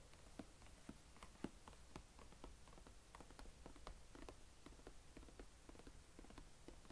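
Fingertips and nails tap and scratch the embossed lid of a medium, hollow blue plastic carry case lying flat, while the other hand steadies its right edge. The result is a quiet run of short, dry, hollow clicks with almost no ring, mixed with faint scratching over a low background rumble.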